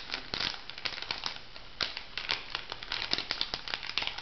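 A small, flat, pink printed plastic-foil sachet, filled, is crinkled and scratched with long nails. It gives a steady run of bright, dry crinkles and sharp ticking scratches, mostly high in tone with little low end. The short crackling bursts decay quickly.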